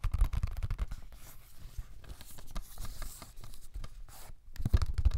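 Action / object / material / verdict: scrape / cellulose sponge / cellulose / none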